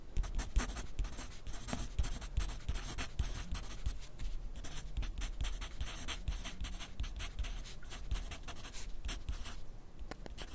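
A yellow wooden graphite pencil writes on a thin sheet of grid paper held on a white clipboard. Its tip makes steady, dry scratching strokes with bright edges, broken by short pauses, over a low, soft underlying rumble.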